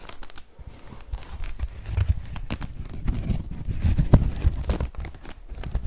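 The brim of a woven straw sun hat is scratched with the fingers, then bent and squeezed. It gives a continuous run of dry crinkling and crackling with a dull, low-heavy body and short bright scratchy bursts.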